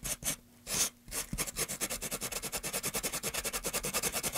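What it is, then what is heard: Sandpaper rubbed on a pine wooden tray. A gloved hand rubs sandpaper over a solid, light-wood carved pine tray with grooves, first propped on end and then laid flat. A few slower, bright rasping strokes give way to a quick, steady run of short, dry, scratchy strokes.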